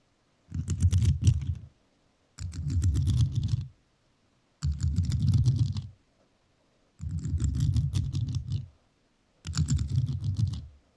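A rhinestone-covered microphone is tapped and scratched with metal nails in five separate bursts of rapid clicking taps. Each burst carries a deep, thumpy low rumble under bright, crisp clicks, with short silent gaps between them.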